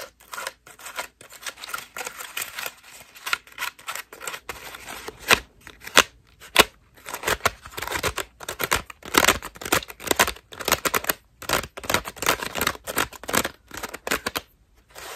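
Long nails scratch a white foam bath loofah with ruffled petals, held close up. It makes a steady series of dry, bright, rasping scratches and crinkly rustles in quick uneven bursts, with brief pauses between strokes.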